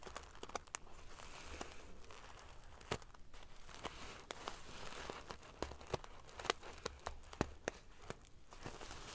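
Long nails scratch and ruffle the rows of silver metal pieces covering a large padded metal-sequin fabric pillow. The result is a quiet, continuous crinkly rustle over a low hum, broken by scattered sharp, bright clicks as the pieces flip and tap against each other.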